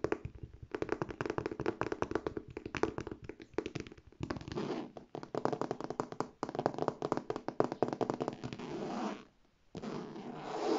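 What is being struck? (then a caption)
Faux leather handbag with metal buckle plates. Long painted nails rapidly tap and scratch the front of a hollow, medium, structured beige faux leather handbag and its gold metal buckle plates. Quick, dry, short taps come in dense midrange bursts, broken by brief pauses and smoother scratching stretches, with the loudest scratching at the end.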